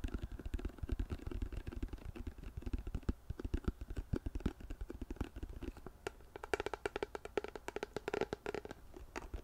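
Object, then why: Plastic lotion pump bottle. A large white plastic CeraVe lotion bottle with a blue pump, hollow and apparently full, is held in both hands and tapped with long painted nails. The result is a steady stream of quick, dry tapping clicks with a low, hollow thump beneath them, and the taps turn brighter and sharper in the last few seconds.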